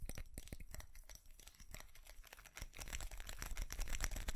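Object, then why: Small ceramic Christmas tree with plastic bulbs. A small ceramic light-up Christmas tree with plastic bulbs is held in both hands while fingernails scratch and tap it. Quick, irregular dry clicks and scrapes run throughout, with no ringing after each tap, and they grow busier and louder in the second half.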